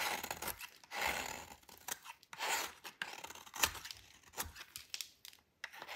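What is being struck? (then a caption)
Soap bar shaved with a metal blade. A hand-held, dry, solid purple soap bar is shaved with a metal blade. It makes a series of short, dry, crunchy scraping strokes that are bright and hissy with almost no low end. Brief quiet gaps fall between the strokes.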